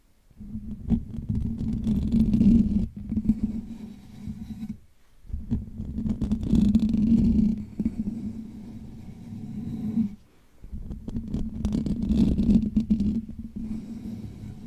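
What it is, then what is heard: Metal mesh microphone grille. Fingertips of both hands scratch the hollow metal wire-mesh dome grille of a Blue Yeti USB microphone. Three long bursts of close, dense scratching, separated by brief pauses, come through as a heavy, rumbling low hum with a steady low tone and a faint bright hiss above.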